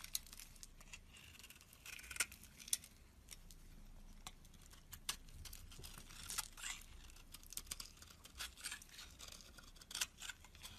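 A metal box-cutter blade shaves curls off a white, solid rectangular bar of soap held in the palm. The result is quiet, dry scraping and carving, with many crisp, bright ticks and short crackles over a soft hiss. Each cut dies away almost instantly.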